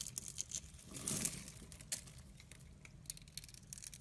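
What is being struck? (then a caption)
Glycerin soap bar. A utility blade scores the surface of a solid translucent red glycerin soap bar held in the hand and shaves off small cubes. Quick, bright, crisp scratching clicks and crackles are heard, with a longer, louder cutting stroke near the one-second mark. The sound is quiet and dry, with little ring after each stroke.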